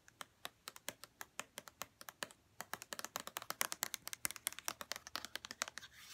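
Long red-painted nails tap the edges and bottom of a hollow white plastic lotion bottle held in the hands. The result is a quick, uneven run of sharp, bright plastic clicks that die away almost at once and carry almost no low end. The taps grow denser and louder in the second half and end in a soft rustle.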